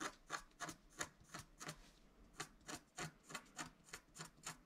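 A wooden stylus scratches near the top edge of a flat scratch-art card made of wax-coated paper. There are 15 short, dry, raspy strokes at a steady but uneven pace, each a bright scraping burst with no ring.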